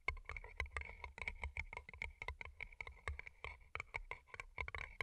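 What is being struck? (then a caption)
Paper cup covered in plastic rhinestones. Long glittery nails rapidly tap and scratch the colorful plastic rhinestone sides and cardboard bases of two small, hollow, empty paper cups turned upside down, with earbud mics underneath. The result is a dense run of crisp, bright clicks with a faint ringing tone near 2 kHz, each dying away almost instantly, over a soft low rumble.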